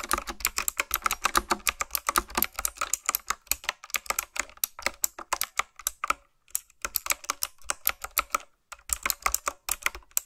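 Fingertips with long nails type quickly on a full-size retro typewriter-style keyboard with a dark frame and round black plastic keycaps on backlit mechanical switches. A rapid stream of sharp, bright, clicky keystrokes rattles on with almost no ring, broken by two brief pauses near the middle and later in the clip before the typing resumes.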